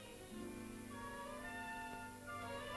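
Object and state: Nothing is struck.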